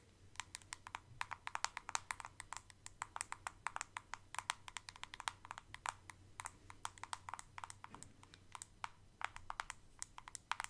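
Long acrylic nails tap and scratch the sides and screw lid of a medium white plastic Elemis facial pads jar, hollow and holding pads. Dozens of quick, dry, bright clicks ring around 900 Hz and die away almost instantly, with soft scratchy texture between them. A faint low hum runs underneath throughout.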